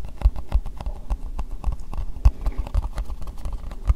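An empty, hollow, translucent pink plastic bowl is tapped with long nails on its base and sides. A rapid, uneven run of short, dull, low knocks sounds with little ring, some taps landing harder than others.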